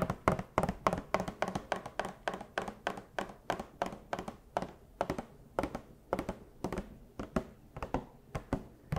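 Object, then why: Cardboard box with plastic window and vinyl figure inside. A small hollow cardboard Funko Pop collectible box with a clear plastic window and a vinyl figure inside, held in furry costume paws, is tapped with long hard plastic claws. The result is a steady stream of quick, dull, hollow taps and thunks in an uneven rhythm, each dying away almost at once.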